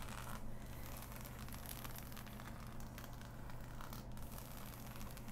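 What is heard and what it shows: Fingertips and long nails scratch across a large, flat, assembled cardboard jigsaw puzzle with a glossy print lying on fabric. The result is a quiet, continuous, dry scratching and crinkly rustling over a steady low hum.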